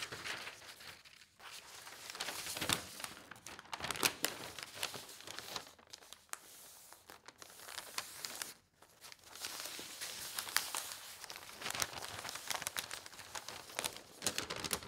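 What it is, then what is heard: Newsprint newspaper. An open paper newspaper lies on a table with its sports section showing, as fingertips and nails slide over and flip its thin newsprint sheets. The result is a steady, bright rustle and crinkle with almost no low end, broken by brief near-silent pauses around 1.3 and 8.7 seconds.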